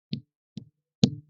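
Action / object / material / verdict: strike / rubber truck tire / rubber / none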